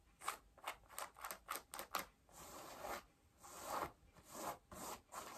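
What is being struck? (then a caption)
Denim jeans fabric. Long nails scratch and rub worn blue denim jeans at the waistband and front pockets. A run of short, quick scratches gives way to longer, smoother rubbing strokes. Each stroke is a dry, bright, papery rasp of fabric, quiet and close.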